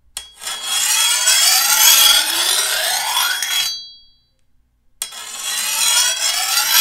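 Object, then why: Steel machete blade. A hand-held steel file is drawn along the edge of a long, thin, solid steel machete blade, giving a bright, hissing rasp with a steady metallic ring near 3.3 kHz. One long stroke runs for about three and a half seconds, the ring fades into silence, and a second stroke begins.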